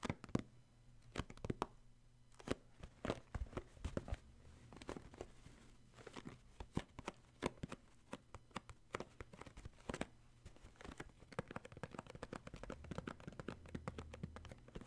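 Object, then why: Cardboard tissue box. A cardboard tissue box is turned over in the hands while fingertips tap its bottom and front. Quiet, quick, dry taps come in irregular bursts with almost no ring, alongside soft rustling handling noise over a faint low hum.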